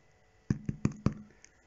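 A homemade bread loaf, just taken out after 40 minutes of baking, is knocked on the bottom, giving four firm, low, hollow thuds and a faint fifth tap with almost no ring. The hollow sound shows the loaf is properly baked through.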